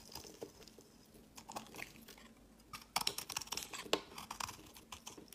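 A utility knife blade scrapes thin, powdery flakes off the face and edge of a solid white rectangular bar of soap held in the fingers. The result is a run of quiet, dry, crunchy scrapes with bright, hissy high-end texture. Sharper, louder cuts come around the three- and four-second marks.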